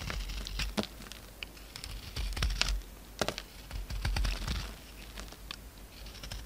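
A solid pink oval soap bar held in the hand is scraped and shaved with a utility knife. Irregular dry, crackly scrapes and crisp bright shaving strokes come in bursts over a steady low rumble.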